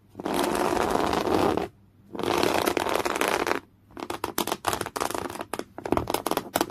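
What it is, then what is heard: Woven cotton canvas cloth. Thick beige coarse woven cotton canvas cloth, bunched and rippled by the fingers, is scratched and dragged with nails. Two long, steady, broadband scraping passes are heard, followed by a run of quick, separate scratches with a rough, bright texture.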